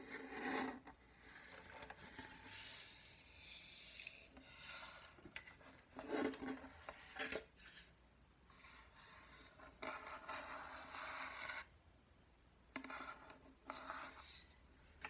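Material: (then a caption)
Wood. Long nails scratch and rub across the wooden surface of a hollow ukulele, over both its front and its sticker-covered back. Quiet, raspy filing strokes with a hollow low-mid resonance come in uneven bursts, some brighter and louder, with brief pauses between them.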